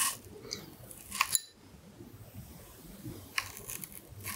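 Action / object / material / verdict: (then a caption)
scrape / whole apple scraped by a thin knife blade / apple / none. A whole, solid red apple held in one hand has the thin blade of a carving knife scratching and cutting lines into the skin near the stem. Soft, bright scraping and crisp little snicks come through, with the sharpest clicks near the middle and again toward the end, over a quiet low hiss. Each cut stops dead with no ring.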